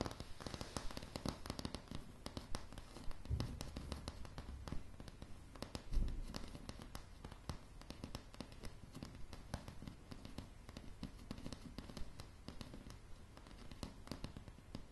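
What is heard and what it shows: Long polished nails on both hands tap rapidly across solid, light pine floorboards. The result is a dense, crackling patter of short, dry clicks over a low, woody thud, with a louder knock about six seconds in.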